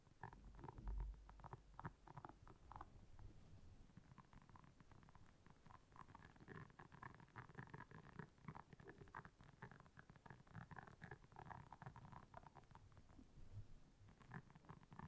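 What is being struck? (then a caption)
Silicone scrubber pad with soft bristles. Long nails scratch across the soft bristles of a solid, round, flat blue silicone scrubber pad lying on black fur. The result is a quiet, low, rumbling stream of rapid, dense scratches with short, dry bursts and almost no bright edge.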